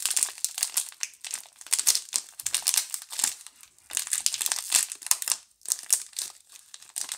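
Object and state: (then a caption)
Cellophane-wrapped cardboard soap box. Long painted nails and fingertips handle and rub a small, full Camay soap box made of pink cardboard with a thin cellophane wrap. The wrap gives off rapid, bright crinkling and rustling in dense bursts that rise and fall, with almost no low end.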